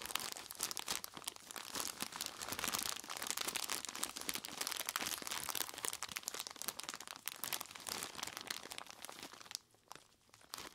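Purple nitrile-gloved fingers squeeze and scratch the front of a large clear plastic bag full of crushed ice. The result is a dense, bright stream of crinkling plastic and crunching, grinding ice with almost no low end. The sound drops to near silence for a moment just before the end, then the crinkling resumes.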